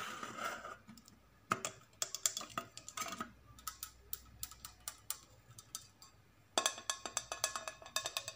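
A large, hollow, shiny stainless steel cooking pot with a lid and handles is held close and tapped and scratched with long nails and fingertips. It opens with a brief scratchy rustle, followed by a long run of sharp, bright metallic clicks and taps. Each tap fades almost instantly, and a quick flurry of taps near the end gives way to a few final clicks.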